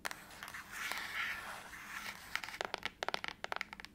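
Long acrylic nails scratch across the back of a closed silver aluminum laptop lid held upright, making a bright, dry scraping hiss. They then tap it in a quick, uneven run of sharp, light clicks with almost no ring.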